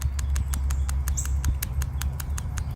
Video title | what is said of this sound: PCV Valve – 7 Signs It’s Failing | If you hear the sound of the springs moving inside, the valve is working properly and doesn't need to be replaced.